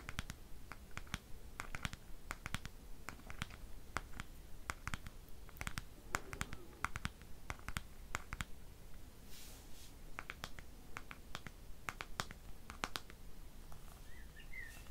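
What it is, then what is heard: Plastic hairbrush back. Long fingernails tap and scratch the glossy black plastic back of a bristle hairbrush. Short, dry, bright clicks come in a quick, uneven stream, with soft scratching between them over a steady low hum.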